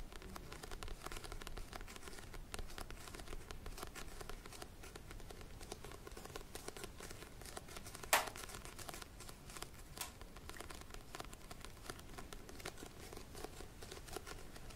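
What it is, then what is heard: Paperback book cover. Fingernails tap and scratch the front cover of a small glossy-covered paperback book held in both hands. The result is a quiet, steady stream of soft crinkly scratching and light tapping, broken by one sharper click near the middle and a fainter one a couple of seconds later.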